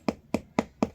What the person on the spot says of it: It's really hard, so there's a possibility of scraping the hardwood